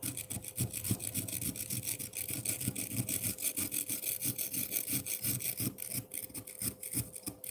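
A metal fork held by hand repeatedly scrapes the lower side of a solid frozen milk ice block in a bowl, piling up crushed ice. Rapid, uneven strokes make a crisp, gritty scratching with a bright, hissy edge and soft low thumps. A faint steady tone hums underneath throughout.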